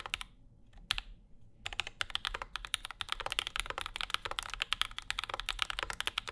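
Fingertips of both hands type on a compact Bauer 2 mechanical keyboard with Zykos switches, an aluminum plate and plastic keycaps, with a wooden wrist rest in front. A few isolated keystrokes and a short pause give way to a steady, fast run of crisp, bright clacks with very short decay and little low end.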